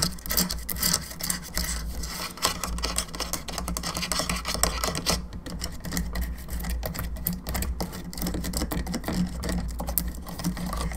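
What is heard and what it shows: Long nails tap rapidly on the jaw and the back of the cranium of a hollow plastic skull candelabra lamp, producing a dense stream of light, bright clicks and scratchy rasps. A steady low hum runs underneath throughout.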